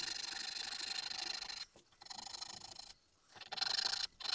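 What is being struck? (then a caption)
Small carved wooden keychain mask. A small, solid, pale wooden keychain mask blank for a Tengu mask, held flat on a mat, is filed first with a large flat metal file and then with a thin needle file. Long, dry rasping strokes produce a bright, hissy scratch with no low end, separated by brief silent pauses.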